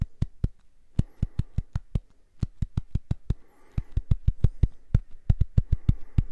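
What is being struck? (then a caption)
Silicone facial cleansing pad. Fingernails tap and scratch the surface of a small purple silicone facial cleansing brush, or cleansing pad, held in both hands in front of the mic. About 28 quick, dull, low thuds come in an uneven rhythm, each dying away almost instantly, with a faint scratchy rustle between some taps.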